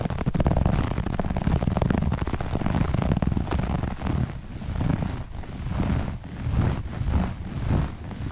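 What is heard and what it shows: Long natural nails on both hands scratch fast and aggressively across a flat piece of looped grey-beige carpet laid on a surface. The result is a dense, continuous rasping scratch with a heavy low rumble. It eases into looser, surging strokes toward the end.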